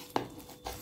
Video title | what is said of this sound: çıtır mı çıtır bir Leyli böreği tarifi sizlerle A crispy Turkish pastry recipe #pie #patty | и вы слышите хрустящие звуки